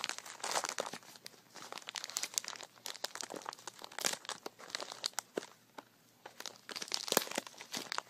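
Fingertips squeeze, crinkle and twist a small white translucent plastic bag full of glass marbles, tied with red string and sitting on carpet. Dense, bright crinkling comes with sharp crackles and crunches in irregular bursts. A brief lull falls just before the six-second mark, and the crinkling then picks up again.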